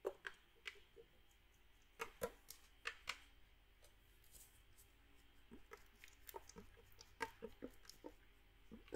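A small red metal drink can, likely aluminum and partly filled with liquid, is held in the hand and shaken while the fingers tap its side. About twenty quiet, sharp taps and clicks sound against a faint background, each dying away almost at once with no ring. Soft sloshing patter fills the gaps between them.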